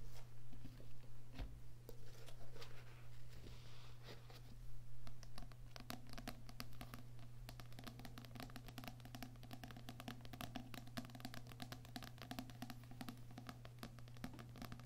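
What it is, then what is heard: Paperback book with card cover. Fingertips with nails tap and scratch the glossy card cover of a small, solid paper paperback book, 'Heart Thoughts', lying flat. Soft, dry scratching in the first seconds gives way to quick, irregular, closely spaced taps. A steady low hum runs underneath throughout.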